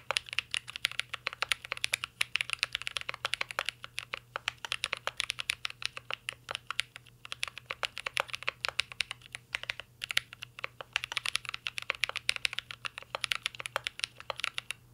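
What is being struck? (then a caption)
Mechanical keyboard with metal case and plastic keycaps. A full-size mint-green Cyberboard R3 mechanical keyboard with a metal case, plastic keycaps and Holy Panda switches, resting on a desk, is typed on steadily with the fingertips of two hands. Dense, rapid, crisp clacks with a bright top and short decay run throughout, with a faint low hum beneath.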